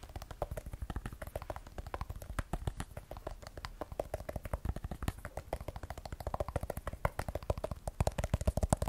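Long nails tap quickly on the matte glass back and camera area of a small, solid graphite iPhone 12 Pro with a steel frame, held in one hand. The sound is a rapid, steady stream of short, dull clicks, each dying away almost instantly, with most of the weight low and very little bright content.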